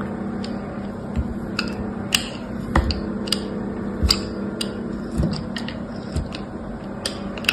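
A small, solid cube of dried bar soap with a blue coating and beige interior, held in the fingertips, has its edges shaved and carved with an orange utility knife blade above a grid mat covered in soap pieces. Short, crisp, bright scrapes and snaps break out at irregular intervals over a steady low hum, each cutting off quickly.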